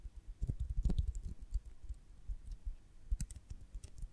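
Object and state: Beeswax honeycomb tapped and scratched with nails.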